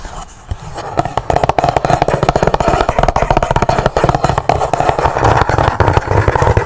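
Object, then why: Cardboard box. A large, hollow black cardboard gift box has its world-map lid opened and then closed, and long nails scratch the lid before tapping on the box edge. The taps come fast and steady, each a short, dry, hollow knock with a low thump and a mid-range papery tone that dies away almost at once.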